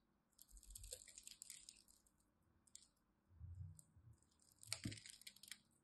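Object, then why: Bar of soap scored with a blade. A small craft knife blade scores and scratches a grid into a solid rectangular bar of dry pink and white striped soap held in the fingers of one hand with long pastel nails. Quiet bursts of bright, dry scratching and crackling alternate with soft low thuds, and a sharp click stands out near the end. Small cubes of soap chip off.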